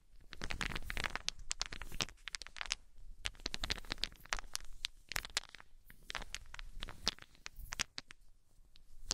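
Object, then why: Small solid wooden balls. A cluster of small solid wooden balls is shaken and squeezed in cupped hands with long nails, clacking together in dense bursts of short, sharp, bright clicks. Each click dies away at once, with a soft low rumble underneath and brief quieter gaps between the bursts.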